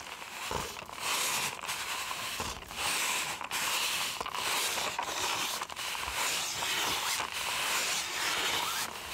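A white styrofoam cup is held sideways in one hand while its hollow side is squeezed and rubbed with the fingers and nails. This produces squeaky, crinkly scratching sounds in bright, dense bursts. The bursts are separated by brief pauses throughout.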